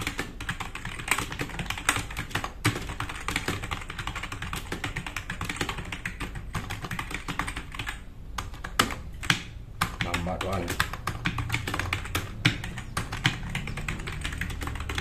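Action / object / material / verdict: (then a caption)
tap / plastic mechanical keyboard / plastic / none. Fast typing with the fingertips of both hands on a black RGB-backlit tenkeyless plastic mechanical keyboard with plastic keycaps, resting on a wooden desk. A dense, rapid stream of short clacking keystrokes with low thumpy bottom-outs and bright plastic clicks fills the clip, with a brief lull near the middle before the steady typing resumes.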